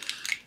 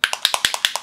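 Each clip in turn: First: paint dropper bottle without agitator ball. Second: steel agitator ball rattling in a paint dropper bottle.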